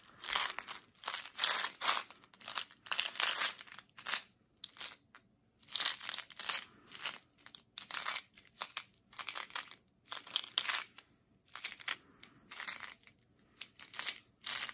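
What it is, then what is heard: Plastic mint box with mints, shaken. A small clear plastic Tic Tac mint box (100 pack), a hollow container nearly full of white oval mints, is held in the fingertips close up and shaken and turned in the hands. The mints rattle and click against the plastic in quick, bright, crisp bursts separated by brief silent pauses, with almost no low end.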